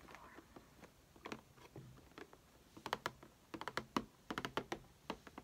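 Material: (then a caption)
Cardboard. Long painted fingernails of both hands tap and scratch on a closed, printed cardboard Crayola Fingerpaint Kit box, medium size and hollow with contents inside, lying flat on a table. Quick, dry clicks come in uneven bursts over a faint scratchy rustle, with each tap dying away almost at once.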